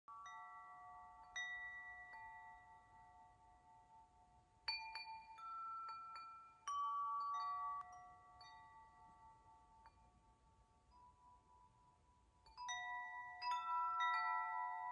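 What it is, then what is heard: Metal tube wind chime. A hanging wind chime of several long, hollow, patterned metal tubes is held up by its string in one hand while the other hand's fingertips strike and shake the tubes so they ring against each other. Clusters of clear, bell-like tones centered near 1 kHz with bright overtones sound in several bursts. Each burst sustains and slowly fades under a faint background hiss.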